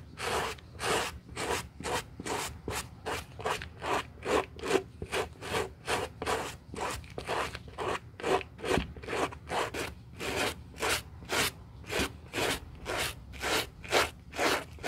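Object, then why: Suede ankle boot. A gloved hand scrubs the upper of a hollow olive-green Burberry suede high-heel ankle boot, held upright on a towel for repair, with a white plastic-bristle suede brush. About 34 steady, rhythmic back-and-forth strokes produce dry, raspy brushing bursts, bright and airy with a papery midrange hiss, each fading quickly.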